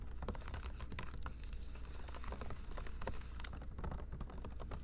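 Long pink acrylic nails tap and scratch a clear plastic Poland Spring water bottle, hollow and largely filled with water, held in one hand with a mini microphone close by. Quick, irregular clicky taps and scratchy strokes patter over a steady low thump, with each tap dying away fast.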